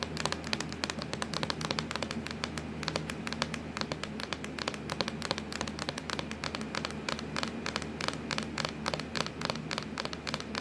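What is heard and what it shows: Long acrylic nails tap rapidly and continuously on a hollow, black textured plastic laptop lid, producing a dense stream of sharp, bright clicks that die away almost instantly. A steady low hum sits underneath the tapping throughout.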